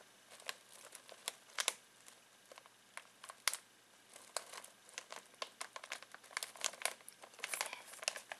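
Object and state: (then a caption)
Plastic snack bag crinkled. Fingertips scratch and crinkle a full foil-plastic snack bag of pistachios. Quiet, bright, crisp crackles come in quick irregular bursts with a few sharper snaps. The sound has almost no low end, and each crackle ends instantly.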